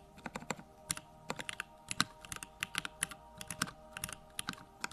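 A compact Bakeneko65 mechanical keyboard with Durock lavender switches and plastic keycaps sits on a desk while both hands type fast with their fingertips. About 28 short, bright clacks come in quick, uneven bursts, each dying away almost instantly over a faint steady hum.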